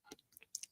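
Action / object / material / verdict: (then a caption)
tap / sterling silver heart pendant / silver / hollow. A hollow sterling silver heart pendant with a cross design, weighing about two grams and tested as sterling silver, gives four short, bright, high-pitched clicks with almost no ring. The clicks show that the pendant is hollow in the middle, and it has no bends or damage.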